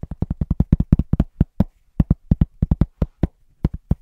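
Fingertips tap rhythmically on a large, thin, round cork trivet that is solid, close to the mic. There are 25 fast, dull, low thuds in uneven bursts with short pauses, and each dies away almost at once.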